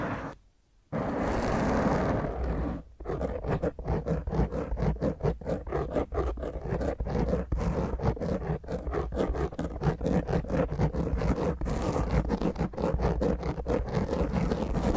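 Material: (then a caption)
Foam. Long grey fingernails on both hands scratch a soft, porous black foam microphone windscreen, producing dense, rough scratching with a heavy low rumble. After a brief silence near the start, the strokes come in a fast, uneven rhythm of about two per second, each short and dry with almost no ring.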